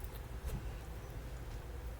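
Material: Nothing is struck.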